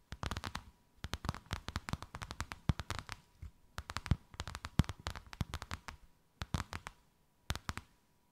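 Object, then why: Thin faux-leather sheet over a rounded surface. Long white acrylic nails tap and scratch a thin white faux-leather sheet with a snakeskin emboss, draped over something rounded. Rapid clusters of short, dry taps with a soft low thud and a bright clicky edge come in bursts separated by brief pauses. A faint steady tone sits underneath throughout.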